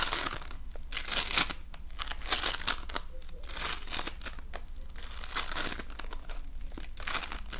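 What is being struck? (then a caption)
Foam bead slime. An oval lump of multicolored foam bead slime (floam) is kneaded and squeezed by fingertips and nails. It makes dense, bright crinkling and crackling in a continuous stream of quick pops, with louder bursts over a steady low hum.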